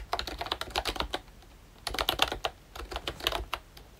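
Fingertips type on a pink and brown plastic ROYCHE Disney Mickey Mouse retro membrane keyboard, producing about 19 soft, bright, quick clacks. The clacks fall in two short bursts separated by a brief pause, and each one dies away almost instantly.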